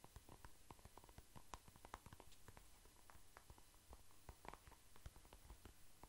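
A soft plastic cream tube is held in the hand and scratched and tapped with nails and fingertips. Quick, quiet, crisp clicks and scratches follow one another in a steady patter over a low background hum.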